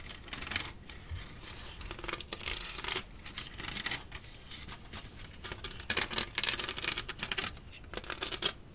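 Fingertips and nails tap and scratch along the studded surface of a large grey LEGO Kylo Ren shuttle built from ABS plastic bricks, its hollow wing panel held upright. Bursts of crisp, bright scraping and clicking rise and fall in uneven waves with little low end, and the dry taps die away almost instantly.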